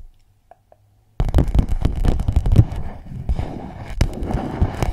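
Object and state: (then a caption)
Clear plastic pouch. After about a second of near silence with two faint ticks, long nails tap and crinkle an empty clear PVC pouch wrapped around a microphone. The result is a dense, continuous run of close, crackly taps, heavy in low thump, with a few sharper clicks standing out.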